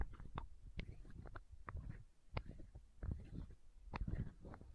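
Long nails tap and scratch a small, hollow, clear plastic eye drop bottle held close to the microphone. Quiet, dull clicks and scrapes with a low, muffled body come in an irregular run with brief gaps.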